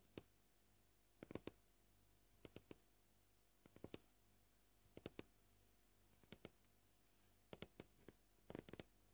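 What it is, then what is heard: Plastic cutting board. Short fingernails tap a flat, solid white plastic cutting board in brief, irregular clusters of two or three quick taps separated by quiet pauses. Each tap is a dry, short click with a low body and almost no ring.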